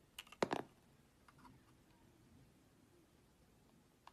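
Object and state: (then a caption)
Soap bar being sliced with a blade. A utility-knife blade slices thin sheets from a hand-held rectangular solid soap bar with a black coating and a light green interior. A quick burst of crisp, bright cutting clicks comes first, followed by faint soft scraping and one last small tick. The sounds are quiet and short, with almost no ring.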